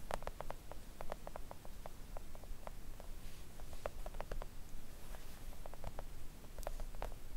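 Long coffin-shaped press-on nails gently tap a thin, solid, flat pink silicone nail art mat lying on a table. A quick, irregular run of soft, dull clicks patters over a steady low rumble, each tap dying away almost at once.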